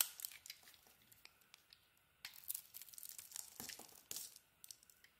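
A metal blade shaves and carves curls from a rectangular solid soap bar, orange at the core with a teal outer layer, held in the hand. Quiet, bright crackling scrapes come in short bursts and strokes with almost no low end, separated by near-silent pauses.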